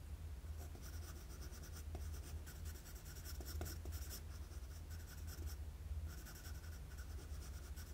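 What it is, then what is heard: Pencil drawing on paper. A wooden graphite pencil draws jagged strokes across a flat sheet of drawing paper. Bursts of bright, scratchy scraping come and go over a steady low hum, with a few faint taps between strokes. The level stays quiet and even throughout.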